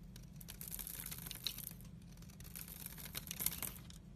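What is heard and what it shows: A utility-knife blade scrapes the dry surface of a solid oval bar of teal soap held by fingers with pink nails, shaving off powdery flakes. The scraping comes as a continuous series of dry, crisp, bright strokes over a steady low hum, with a couple of sharper scrapes standing out.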